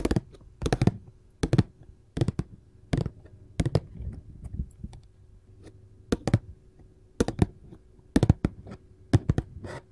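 Gold filigree metal claw nails tap on the lid of a glossy printed paperboard candy box in close-up. Short, dry, dull taps come in quick irregular clusters, low-heavy with a brief click on top and almost no ring, separated by quiet pauses.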